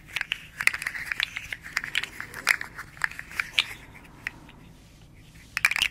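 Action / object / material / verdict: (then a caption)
tap / segmented hard plastic slug toy / plastic / none. A small, hollow, rainbow-striped segmented hard plastic slug fidget toy is held in both hands, flexed and rolled between the fingers and tapped with long nails. Its segments give off quick, bright, dry clicks and crackles that cluster and scatter for about four seconds. After a brief near-silent pause, a final burst of rapid clicking follows.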